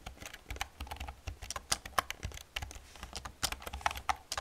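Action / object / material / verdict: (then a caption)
tap / plastic computer keyboard / plastic / none. Fingertips with long nails type rapidly on a black plastic computer keyboard resting on a wooden desk. A fast, uneven run of short, sharp clicks and taps with bright edges and a light low thump beneath them, each keystroke dying away almost instantly.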